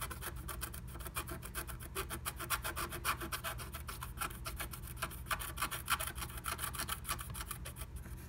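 A wooden stylus held at the fingertips scratches through the coating of a flat black-coated scratch art sheet, working inside the heart cutout of a blue plastic stencil laid on top. Rapid, uneven raspy strokes follow one another at about three or four per second. Each is a short, dry, bright scrape centered near 1.4 kHz, over a steady low hum.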